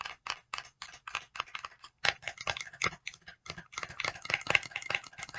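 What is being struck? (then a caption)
Small paperboard cosmetics box. Long decorated nails tap and scratch a small printed paperboard box of e.l.f. putty primer held in both hands. About two dozen quick, dry, bright clicks and scrapes come in uneven bursts, each dying away almost instantly with almost no low end.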